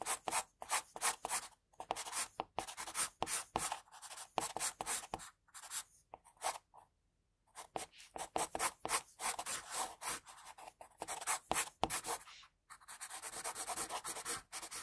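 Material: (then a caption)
Paper. An HB wooden pencil, held at a low angle, draws hair strokes on a sheet of white drawing paper lying flat, the graphite rubbing the paper. Quick, scratchy rubbing strokes come in bright, hissy bursts with little low end. There are short gaps between strokes and one longer pause midway.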